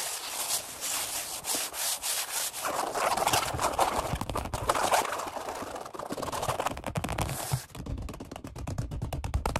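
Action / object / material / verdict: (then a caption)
scrape / vinyl-upholstered foam bench pad / vinyl / none. Flat palms and fingertips rapidly rub and pat the black padded vinyl-over-foam seat of a Flybird workout bench. A bright, brushy rubbing hiss opens the clip, then builds into louder, fuller patting with soft low thumps. It ends in a fast run of short, crisp pats.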